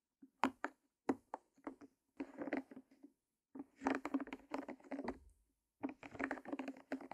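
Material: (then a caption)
Silicone. A heart-shaped rainbow silicone pop-it with hollow bubbles lies flat and is tapped and pressed with long nails and fingertips. It makes quiet, sharp clicks with a hollow low-mid tone, first in separate taps and then in quick, busy clusters with short pauses between them.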